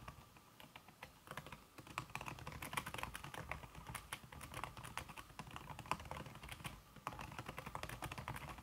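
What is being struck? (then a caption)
Aluminum keyboard with silicone key cover. Fast fingertip typing, with red-painted nails, on a slim backlit aluminum keyboard whose keys are covered by a red silicone skin. The result is a dense, steady stream of soft, muted key taps with short clicky transients and no lingering ring. Occasional slightly louder strokes stand out.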